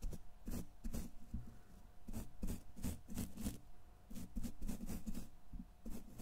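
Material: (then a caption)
Steel mesh. A thin makeup brush held in the fingers is swept repeatedly across the hollow steel wire-mesh grille of a large silver condenser microphone. Each stroke comes through as a close, low, muffled scratching thump with a faint bright swish on top, repeating in quick, uneven bursts over a soft, steady hum.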